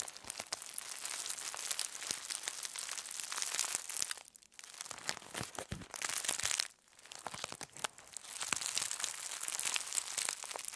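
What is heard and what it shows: A thin aluminum foil sheet is crumpled and squeezed by both hands into a loose roll on a table. Dense, bright crinkling and crackling runs almost continuously, with two brief quieter dips before the rustling picks back up.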